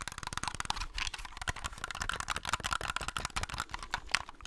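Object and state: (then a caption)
Plastic game controller. Fingertips and nails tap and scratch the shell and buttons of a white plastic Xbox controller, a hollow handheld held near the mic. The result is a rapid, dense run of dry, bright clicks and taps with a short scratchy hiss between them. Each hit dies away almost instantly.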